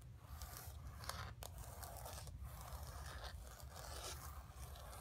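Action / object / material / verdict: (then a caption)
scrape / painted canvas board scratched with fingernails / canvas / none. Long fingernails rapidly scratch the surface of a flat painted canvas board resting on carpet. The result is a continuous dry, bright scraping texture over a low, steady rumble, with brief pauses between strokes.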